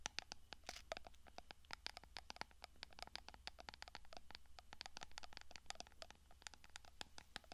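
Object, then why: Small glass jar with textured metal lid. Long fingernails rapidly tap and scratch the textured silver studded lid of a small, hollow, apparently empty clear glass cosmetic jar held in one hand. The result is a dense stream of sharp, bright clicks and scrapes with almost no ring, over a steady low hum.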